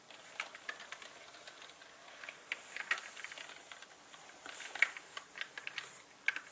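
Fingertips of both hands tap and type on a black mechanical computer keyboard with plastic keycaps resting on a red cloth, with brushes lying unused at its sides. Quiet, sharp, bright plastic key clicks come at an irregular, unhurried pace, each dying away almost instantly, with a few louder taps standing out.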